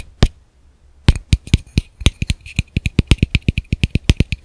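A small, hollow, empty black plastic camera lens cap is held in one hand and tapped rhythmically with the fingertips and nails of the other. After a single tap and a short pause comes a steady run of quick, dry taps, 25 in all, each a dull low thump with a bright clicky edge that stops almost at once.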